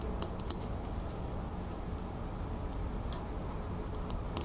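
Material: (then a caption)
Metal. Long nails tap rapidly around the round clasp on the back of a small, solid metal crown piece held in the fingers. Each tap gives a short, bright click that dies almost at once, with a few sharper clicks standing out over a steady low hum.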